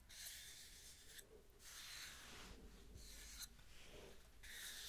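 Long nails scratch and rub across the surface of a solid round wooden tree-slice coaster with a bark edge, held in the hand. Soft, bright rasping strokes come in bursts separated by brief pauses, staying quiet and airy with little low end.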